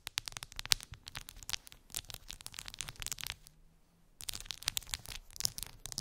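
Long acrylic nails tap and scratch a clear plastic phone case with colorful gummy bears embedded in it, lying on fur. Rapid, crisp clicks and scratchy strokes sound bright and dry, with no ring. They pause briefly after about three and a half seconds, then resume at a similar quick pace.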